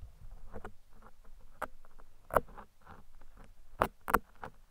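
Two metal tweezers held at the top of a large, soft, porous black foam windscreen covering a microphone pick and scratch at its surface. Close, muffled rustling and scratching fill the clip, broken by a few sharper crackling picks that stand out above the steady scraping and stop almost at once.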